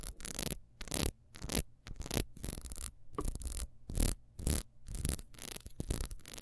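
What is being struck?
Ribbed wax beehive candle.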